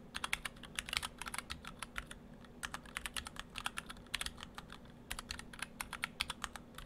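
Fingertips of both hands type steadily on an Orthodox Rev3.1 split ortholinear mechanical keyboard in two halves, with clear acrylic cases, white and cyan PBT dye-sub keycaps and stock Gateron Brown switches. The result is a continuous run of short, bright, crisp keystroke clacks in uneven bursts and pauses over a faint steady low hum.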